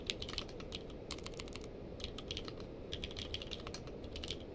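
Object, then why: Mechanical keyboard with plastic keycaps. Fingertips of both hands type steadily on a purple-case mechanical keyboard with plastic keycaps. The keys give quick, bright clicks with very short decay, layered over a constant low rumble of background noise.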